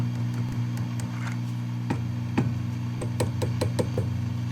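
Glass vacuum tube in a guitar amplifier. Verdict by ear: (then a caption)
Microphonic. Tapping on a 6V6 glass power vacuum tube in a Gibson BR-6 tube guitar practice amp produces small clicking responses through the speaker over a steady low hum near 120 Hz. The tube is slightly microphonic, a mild fault that is not bad since the tubes are probably original.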